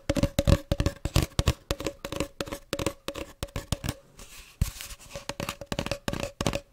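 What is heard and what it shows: Fingers and nails tap and scratch a hollow, empty cardboard tube about 20–30 cm long, held close to the microphone. A quick, uneven run of dull, low thumps, each with a faint hollow tone and almost no ring, is broken near the middle by a soft, brushy scratching before the tapping resumes.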